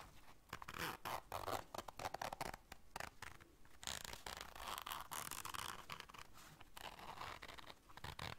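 Long dark nails work the zipper of a small, round black fabric zipper case held in the hands and scratch across its fabric. Quick, raspy zipping runs alternate with dry, bright scratching bursts separated by short pauses, all at a fairly quiet level with almost no ring.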